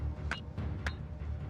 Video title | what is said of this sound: Australia First Four Billion Years Awakening Documentary | Bang it together. It sounds like metal.